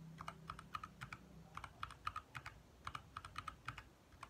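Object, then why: Plastic mechanical keyboard. Fingertips from both hands type quickly on a compact 60% backlit mechanical keyboard with lit plastic keycaps. About 25 crisp, irregular clicks are heard, centered around 1.2 kHz with bright tops. A faint low hum sits underneath during the first second and a half.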